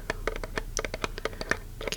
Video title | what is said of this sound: [ASMR] Fingertip Tapping to Find The Best-Sounding Item | if I tap on on the lid gives me sort of a midtone